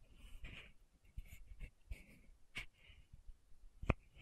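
A small pink Aupres sunscreen bottle, likely plastic, with a silver-banded cap, is held upright in one hand while long manicured nails tap and scratch on the cap. Soft scratching and faint brushy rustles fill the quiet clip, with short bright tap clicks standing out, the sharpest near the end.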